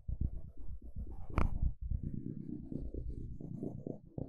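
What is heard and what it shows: A wooden stick is scraped across the teeth of a small, solid blue plastic fine-tooth hair comb held close to the mic. It makes a dense, low, rumbling run of rapid ticks, with one sharp, bright snap about a third of the way in. After a brief dip, the scraping carries on steadily to the end.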